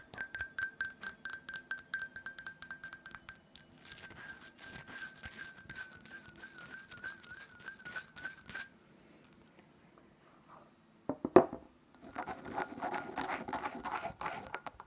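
Long nails tap rapidly on a small black glittery glass perfume bottle filled with orange liquid, striking its base and its front window. Dense, quick clinks carry bright ringing tones and a wavering high whistle-like tone. They stop briefly, come back with one louder knock, and then a busier, rougher stretch of tapping and scratching follows.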